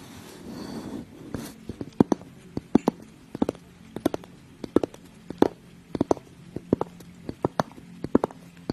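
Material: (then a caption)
Glass. Long acrylic nails tap and scratch a small clear glass mug with a handle and lid, held close to the microphone. A brief soft scratchy rustle opens the clip, then a steady run of sharp, dry clicks on the glass body and lid rim follows. Each tap dies away almost instantly with no lingering ring.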